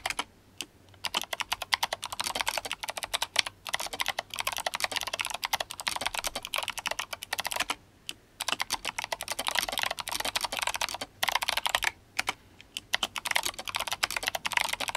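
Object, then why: Mechanical keyboard with plastic keycaps. Fingertips of both hands type fast on an RGB-backlit GMMK Compact mechanical keyboard with clicky Kailh Box White switches and plastic SA keycaps. Dense runs of sharp, bright clicks with almost no low end are broken by brief pauses near the start, around 8 seconds and around 12 seconds. Each click dies away almost instantly.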